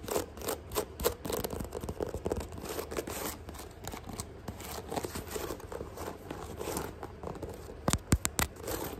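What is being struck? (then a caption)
Canvas sneaker with rubber sole. Long nails quickly tap and scratch the upper of a single hollow white sneaker held in the hand, then move to its thick white rubber tread sole. Rapid dry clicks and rough scratching blend with dull low thuds, and a few sharper, louder taps stand out near the end.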